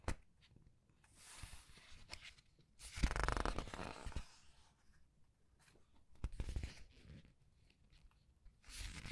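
Red-nailed fingers rub the printed color paper pages of a large open paperback art book and turn a page over. Soft, bright papery rustles and light taps run through the quiet clip, with louder crinkling page turns around the third and sixth seconds.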